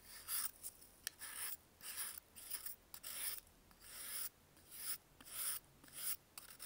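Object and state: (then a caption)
Dried baking soda block scraped. A solid, dried baking soda block held in a gloved hand is rasped and scraped along its edge with a metal blade in nine short bursts. Each stroke makes a dry, bright, gritty hiss with quiet gaps between and no ringing after.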